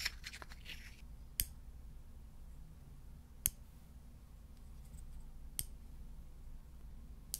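Light wooden tongs made of two thin solid strips are held in the fingers close to the mic and clicked together. Five sharp, bright clicks ring out about two seconds apart, each dying away almost instantly, with a few softer taps and rustles at the start. A steady low hum sits underneath throughout.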